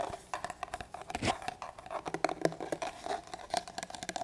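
An empty, larger hollow black leather duty holster is held upright in both hands while fingertips tap and scratch along its leather body. The result is a quick, uneven run of soft, dull taps mixed with dry scratching, each with a short hollow knock and almost no ring.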